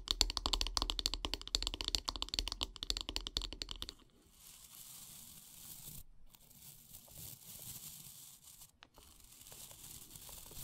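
Long painted nails tap quickly along the solid wooden handle of a bristle brush resting on a wood-slice mat, making a dense run of short, bright, dry clicks for about four seconds. The tapping then gives way to a softer, steady scratching and rustling that continues to the end.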